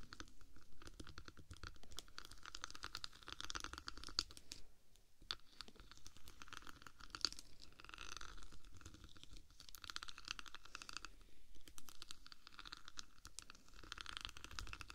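Long black nails on both hands rapidly scratch and tap across silver diamond-plate textured vinyl film covering the hollow metal body of a 3Dio microphone. The result is a dense, continuous stream of sharp, crackly scratches and clicky taps with a close, crunchy texture.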